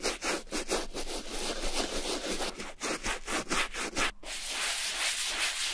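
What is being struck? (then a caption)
Suede leather boot scrubbed with a bristle brush. A wooden bristle brush loaded with foamy shampoo scrubs the outer suede of a hollow brown Levi's vintage suede leather boot, resting on a towel, near the zipper and shaft. Irregular back-and-forth brushing strokes make a bright, hissy rubbing sound with a wet, foamy texture. After a brief pause near the end, the scrubbing continues as a steadier, smoother rub.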